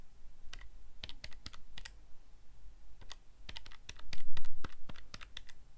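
A fingertip presses the plastic buttons of a calculator keypad in close-up, producing quick, sharp, bright clicks at an uneven, typing-like pace. The clicks come in loose bursts with short gaps, the louder presses clustering near the end, over a faint steady low hum.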